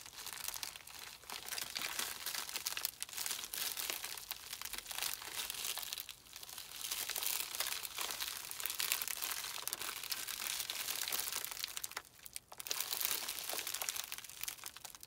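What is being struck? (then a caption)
Plastic bubble mailer. Bare hands crumple and squeeze a small white poly bubble mailer with a shipping label, hollow and holding a small item. The crinkly plastic film gives off dense, bright, continuous crackling with almost no low end, easing briefly around six and twelve seconds before picking up again.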